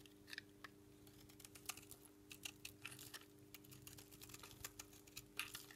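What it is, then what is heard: Dry bar soap being shaved. A metal knife blade shaves and scrapes thin, crunchy flakes from the edge of a palm-sized, solid white bar of dry Dalan soap held in one hand. Quick, dry, bright scraping crackles come in a dense, irregular run over a steady low hum.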